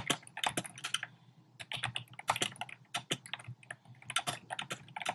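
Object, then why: Plastic keyboard with round keycaps. Fingertips and short nails type rapidly on a compact black plastic typewriter-style keyboard with round plastic keycaps. Quick, bright plastic clicks come in uneven bursts, each tap dying away almost at once, with brief pauses between runs.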